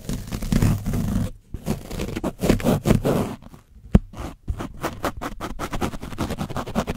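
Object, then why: Foam microphone windscreen stiffened with dried paint, scraped by a foam brush. A foam paint brush on a wooden stick is scratched and rubbed across an orange foam microphone cover stiffened with dried paint, fitted on a black microphone. The result is rough, dense scratching and scraping in quick bursts with a heavy low rumble, broken by short pauses and one sharp click near the middle.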